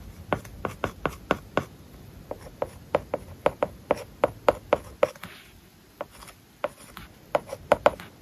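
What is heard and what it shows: A plastic stylus writes words on an iPad lying flat, its glass screen covered with a matte plastic paper-like film. Quick, dry taps and short scratches sound as the tip strikes and drags across the film, with a clicky, mid-pitched tone and almost no ring. Brief quiet pauses break up the strokes.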